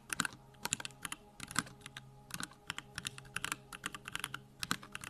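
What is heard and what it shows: Fingertips type on a backlit 65% Bakeneko65 mechanical keyboard with Durock lavender switches and plastic keycaps. The result is a quick, uneven run of short, bright clacks that stop almost instantly, over a faint low background hum.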